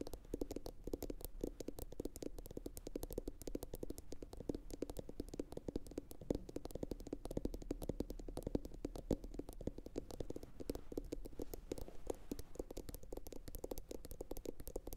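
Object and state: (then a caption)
Ceramic bowl tapped with nails. Long pointed acrylic nails from both hands rapidly tap a medium, hollow, empty blue glossy bowl, likely ceramic, that is turned upside down. The taps form a dense, continuous stream of quiet, sharp clicks with a hollow tone around 300 Hz over a steady low rumble, and each tap stops almost instantly with no ring.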